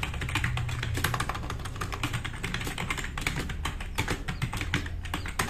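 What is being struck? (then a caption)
Plastic mechanical keyboard. Fast typing with the fingertips of both hands on a black RGB-backlit tenkeyless plastic mechanical keyboard with plastic keycaps, resting on a wooden desk. A dense, continuous stream of short, bright clacks and taps plays over a steady low hum throughout the clip.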